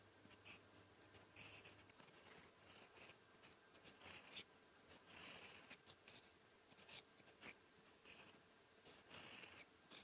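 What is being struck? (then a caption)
Steel fountain pen nib on lined paper. A silver steel fountain pen nib, guided by fingertips, scratches across a flat sheet of white lined writing paper on a desk while writing Korean characters in ink. Bright, raspy scratching comes in short bursts of strokes over a faint low hum in the first two seconds.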